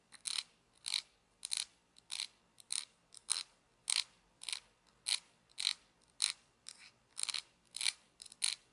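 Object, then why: Plastic toy pizza cutter wheel. Fingers turn the grey wheel of a small plastic toy pizza cutter with a red hollow handle, making a ratcheting, clicking spin. A steady run of short, dry, bright click bursts repeats at a moderate pace, with almost no low end and no ringing between them.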